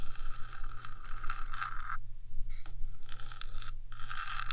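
Long nails scratch and scrape across the top of a 3Dio microphone's metal housing, making bright, gritty rasping strokes over a steady low hum. The scraping runs in bursts, breaking off briefly near the middle before starting again.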